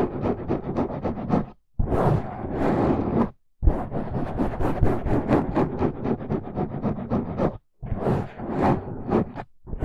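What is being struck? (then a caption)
Foam microphone windscreen. Fingertips of both hands scratch and rub the sides of a dark, rounded foam windscreen over a microphone. The result is a dense, close, rustling scratch with heavy low-end rumble and quick rhythmic strokes, broken by a few brief silent pauses.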